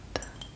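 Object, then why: Glass jar. A glass jar holding cotton balls is handled, giving two short, light clinks of glass with almost no ring. The sound is quiet and bright, with the taps clearly separated.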